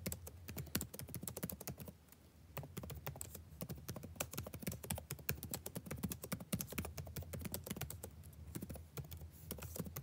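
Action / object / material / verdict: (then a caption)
tap / plastic chiclet laptop keyboard / plastic / none. Fingertips type steadily on a backlit laptop keyboard with plastic chiclet keys, producing a rapid stream of short, crisp taps with a soft low thud beneath each press. The clicks decay almost instantly, with a brief lighter lull near the two-second mark before the dense typing resumes on the same keyboard throughout.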